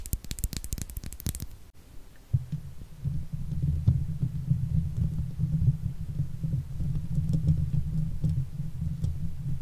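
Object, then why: Steel mesh microphone grille. A silver Blue Yeti microphone's hollow steel mesh grille is scratched with long fake nails of both hands. The first second and a half brings dense bursts of broadband scratching, followed by a brief quiet gap. After that comes a steady, throbbing low rumble of rapid scratches that stays concentrated deep in the low end.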